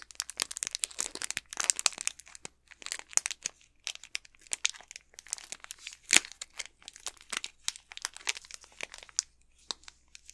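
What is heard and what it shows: Fingertips and nails crinkle and scratch the plastic wrapper of an unopened Snickers candy bar, its back side with the barcode facing up. The result is a dense run of sharp, bright crackles and scratchy rustles in quick irregular bursts, with almost no low end and a few louder crinkles standing out.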